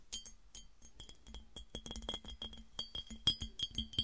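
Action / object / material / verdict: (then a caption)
tap / clear glass piggy bank / glass / none. A hollow, empty clear glass piggy bank held on a table is tapped and clinked with long nails and fingertips. A quick, irregular run of bright, clicky taps each carries a short glassy ring near 3.2 kHz that dies away almost at once.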